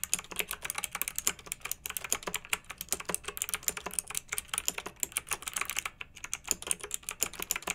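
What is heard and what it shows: Fingertips with long nails type steadily on a pink-backlit, typewriter-style plastic mechanical keyboard with round metal-rimmed keycaps. The result is a rapid, continuous stream of sharp, bright clicks and clacks with almost no low end. Each keystroke dies away almost instantly.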